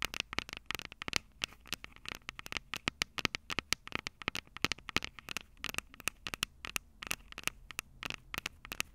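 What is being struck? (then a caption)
Metal and plastic handheld recorder microphone heads. Long purple nails tap and scratch the two silver metal mic capsules on a plastic-bodied Tascam DR-05 handheld recorder. Rapid, irregular bright clicks and ticks come one after another with almost no ring, over a faint scratchy hiss. The sound is thin and crisp, with very little low end.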